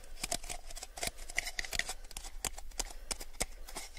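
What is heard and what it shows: A small, empty, hollow clear plastic cup is turned in both hands while fingertips and nails tap its wall and rim. The result is a rapid, irregular run of short, dry, bright clicks and taps, some with a light hollow ping near 2 kHz, over a faint low rumble.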